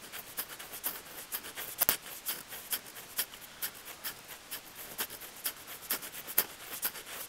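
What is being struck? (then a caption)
Weathered wooden plank boards. Fingertips scratch and tap the solid, weathered wooden plank boards of a bench beside a small microphone lying on the wood. The result is a quiet, uneven run of dry, bright scratches and clicks, roughly two per second, each dying away almost instantly with almost no low end.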